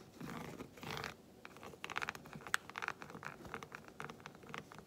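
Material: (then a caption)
Chocolate. Long white acrylic nails tap quickly on the squares of a solid, segmented milk chocolate bar lying flat close by. The sound is a rapid run of short, dry clicks with a bright edge, like typing, with some brief scratchy rustling at the start.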